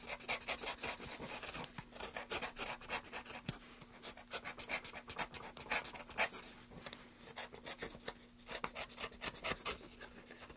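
A solid, light wooden block is held upright while a gloved hand scrapes and cuts its grooved face with a carving knife. Bursts of dry, bright rasping strokes come in quick, uneven runs. A faint steady low hum sits underneath.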